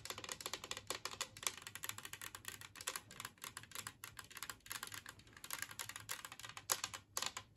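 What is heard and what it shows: Long fingernails on both hands tap rapidly across a large, flat, green glazed ceramic plate shaped like a Christmas tree, lying empty on a wooden table. The result is a dense, fast patter of short, bright clicks with almost no ring or low end, in irregular bursts throughout.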